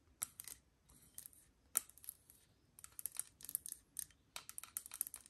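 Long nails tap the metal body and central ring of an assembled, hollow aluminium moka pot, held sideways and then upright. The sound is a quiet, irregular run of bright, clicky taps, some in quick flurries, each dying almost instantly with only a faint thin metallic ring.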